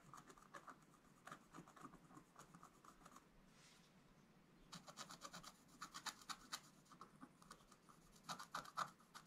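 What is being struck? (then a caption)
Black-coated scratch-art card scratched with a wooden stylus. A wooden stylus scratches fine lines into a flat black-coated scratch-art page, making quick, dry, bright scratching strokes with a raspy edge. There is a short quieter lull partway through, then the strokes return denser and slightly louder toward the end.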